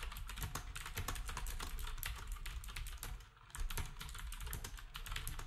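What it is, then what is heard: Plastic round-key keyboard being typed on. Fingertips of both hands type on a black, typewriter-style retro keyboard with round plastic keycaps. It makes a rapid stream of short, crisp clicks with bright tops over a deep, low thump. The typing pauses briefly just past the three-second mark, then resumes at the same steady pace.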